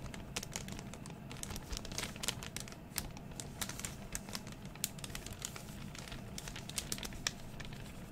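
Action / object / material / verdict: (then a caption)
scrape / thin clear plastic zip-top bag / plastic / none. An empty, thin, clear plastic zip-top bag is held up and crinkled with the fingers. It makes a steady stream of dry crinkling with sharp, bright crackles that die away almost instantly, over a constant low rumble.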